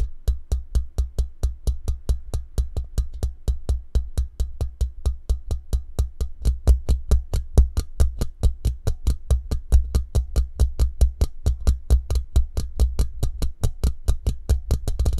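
Fingertips and short nails tap and drum quickly on the hollow steel mesh grille and metal band of a microphone held in a shock mount. About 68 rapid, steady taps land as deep, boomy thumps with short, bright clicks on top, each dying away almost instantly.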